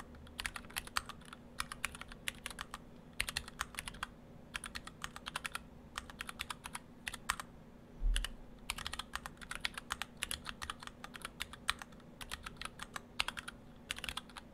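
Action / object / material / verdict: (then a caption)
tap / mechanical keyboard with PBT plastic keycaps / PBT plastic / none. Fingertips of both hands type steadily on an Orthodox Rev3.1 split ortholinear mechanical keyboard in two halves with clear acrylic cases, white and cyan PBT dye-sub keycaps, and stock Gateron Brown switches. Quick, short, bright clacks come in bursts with brief pauses, centered around 1.9 kHz, over a faint steady low hum. A duller low thump stands out just past the eight-second mark.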